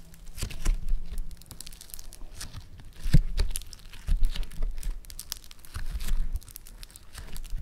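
A small, solid lump of orange floam foam-bead clay is pinched, pressed and folded by fingertips. It makes a rapid string of crisp crackling, popping and crinkling sounds that come in several louder bursts over a low, soft rumble.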